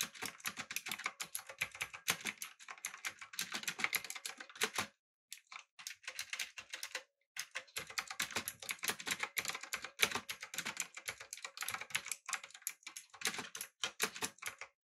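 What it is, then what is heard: Mechanical keyboard typing. Fingertips type rapidly on a backlit typewriter-style mechanical keyboard with blue switches, an aluminum body and round plastic keycaps. Dense bursts of bright, crisp clicks come with very short ring, broken by brief pauses near 5 and 7 seconds.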